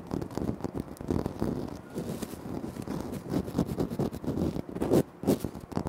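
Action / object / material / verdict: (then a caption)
tap / granite floor tile / granite / none. Fingertips tap and short nails scratch on a flat, solid, speckled granite floor tile. The result is a dense run of quick, dry taps and scrapes with a low-mid body and short decay, and a few louder knocks near the end.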